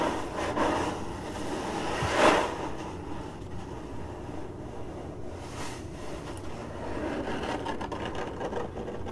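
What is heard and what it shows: Long nails of both hands scratch and tap across a hollow, printed cardboard box lid, making a steady dry rustling scrape with a soft low rumble underneath. A sharper, brighter scrape stands out near the start, then the scratching continues evenly at a low level.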